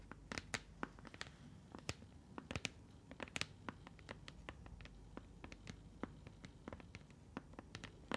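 Fingertips and long nails tap, scratch and grip a hand-sized, hollow blue translucent plastic container with a lid. A rapid, irregular series of sharp, bright clicks and taps rises over a soft scratchy, rustling bed, each tick ending almost instantly in a quiet, close space.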